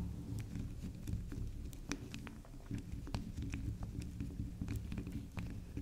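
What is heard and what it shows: Long nails scratch and dig into the top of a soft, round pink swirl bar soap resting on a table scattered with soap shavings. Soft scraping and patter are heard, with a low rumbling hum underneath and brief bright clicks and taps scattered throughout.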